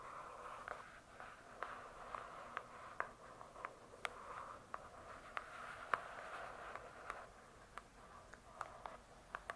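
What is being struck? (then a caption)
Hardcover book with cardboard cover. Long nails scratch and tap the glossy cardboard cover of a large, closed hardcover book. A soft, steady scraping hiss around 1 kHz runs throughout, punctuated by sharp, bright clicks from the taps. The result is a quiet, crisp tapping-and-scratching texture with no ringing.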